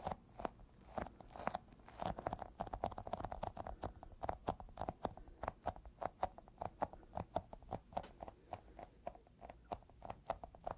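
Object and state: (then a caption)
Sticky rubber toy ball. Fingertips rapidly tap and pull at a small, solid, yellow sticky squishy rubber toy ball. Each touch gives a short, soft, sticky smack with a slight tacky crackle and a faint tone near 680 Hz, all quiet and close-up. Nothing rings on after each tap.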